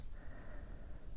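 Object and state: Nothing is struck.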